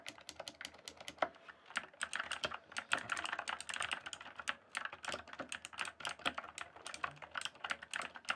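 Fingertips type and tap steadily on a full-size backlit plastic mechanical keyboard, a Cyberpowerpc Skorpion K1 with a hollow case and key switches. The keystrokes come as fast, dense, crisp clicks with bright high-end snap and almost no ring, over a faint low hum. Rapid bursts are broken by a few brief pauses.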